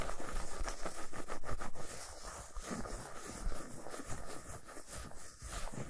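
Nail tips slowly scratch the flat back side of a solid milk chocolate bar resting on a towel, leaving visible shavings. The sound is a dense, dry scraping with a heavy low rumble, louder and choppier for the first two seconds, then a steadier, softer scratching to the end.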